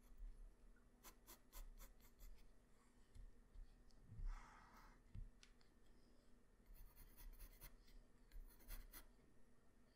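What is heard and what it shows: A graphite pencil tip draws strokes across a flat white paper sheet, making quiet, dry scratching sounds. Short, bright strokes come in irregular bursts over a low background rumble, with one longer rasping stroke in the middle.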